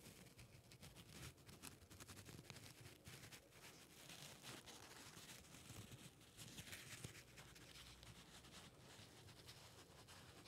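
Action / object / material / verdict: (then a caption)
scrape / folded strip of paper / paper / none. A folded strip of white paper held in both hands is rubbed and crinkled by fingertips close to the microphone. The result is a steady, quiet stream of dry rustling and crackling with bright, crisp edges and a soft low rumble underneath, continuing without a break through the whole clip.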